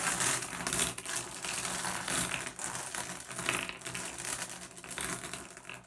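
Fingertips pick at and tap small, solid blue glass gem pebbles on a wooden tabletop, making them clack together. The result is a steady stream of quick, bright clicks and clatters with short ringing and little low end.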